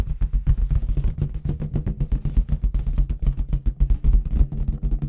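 A clear, hollow inflated latex balloon with confetti inside is tapped with long red nails and fingertips of both hands. The result is a fast, uneven drumming of deep, dull thumps that die away almost instantly.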